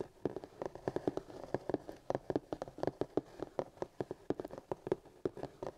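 Fingertips and short nails of both hands drum and tap on the lid of a Reaper Core Skills Kit paint case, a black hard plastic carry case lying flat and hollow with a printed card sleeve over the lid. A quick, uneven run of about 32 short, dry, hollow knocks sounds, each centred in the low-mids around 380 Hz and dying away almost instantly with no ring.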